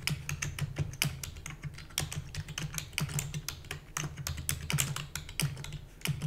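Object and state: Plastic computer keyboard.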